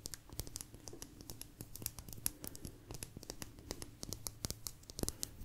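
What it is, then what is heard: Agate slice scratched with nails. A small, thin, solid blue agate slice is scratched along its rim with long nails. The result is a rapid series of short, dry, bright clicks and scrapes over a faint low hum, each fading almost instantly.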